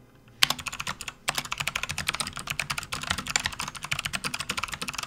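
A full-size, RGB-backlit plastic membrane gaming keyboard resting on a desk mat is typed on quickly with the fingertips of both hands, producing a fast, continuous stream of dozens of short, dry, bright key clicks. After a brief pause near the start, the typing resumes and carries on steadily with very little low end and no ringing.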